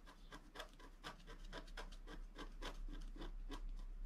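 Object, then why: Coated scratch art paper and wooden stylus. A long wooden stylus scratches lines into a flat black coated scratch art paper sheet on its right side. The scratching comes as a rapid, steady series of short, bright, rasping strokes over a constant low hum.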